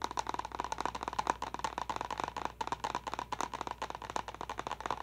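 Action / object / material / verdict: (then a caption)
tap / plastic water bottle / plastic / none. A clear plastic water bottle with a pink lid and a small confetti pattern, held upright, is tapped quickly with long nails. The result is a fast, uneven run of about twenty-two short, sharp, hollow clicks with a light plastic ring near 1 kHz that dies away almost at once.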